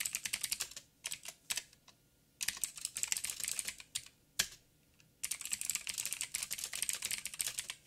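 Fingertips of both hands type on a backlit 87-key mechanical keyboard with plastic keycaps and clicky blue switches. The bright, sharp clicks come in fast bursts separated by short pauses, each keystroke dying away almost instantly.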